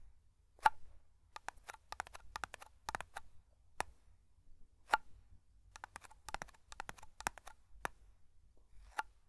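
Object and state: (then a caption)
Small metal tin. A small round black metal tin of matte hair cream is held close to the mic while fingertips and nails tap and scratch its lid and sides. The result is an irregular series of quiet, dry, sharp taps and clicks with a tinny ring near 870 Hz that dies away almost instantly, with scratchy bursts between them over a faint low background rumble.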